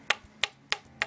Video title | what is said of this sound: Vms4 over view | it sounds like metal too